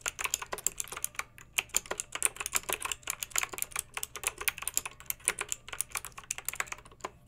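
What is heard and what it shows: Long-nailed fingertips type steadily on a backlit plastic mechanical keyboard with round, lettered, metal-rimmed keycaps. The result is a rapid, uneven stream of bright, crisp clicks and clacks that die away almost instantly, with almost no low end.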